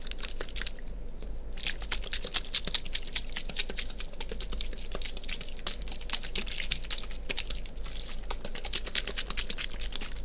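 A small, clear, partly filled plastic water bottle is held near a binaural microphone and squeezed and crinkled with the fingers. Rapid, irregular crackling clicks with bright, sharp edges continue throughout, over a steady low hum.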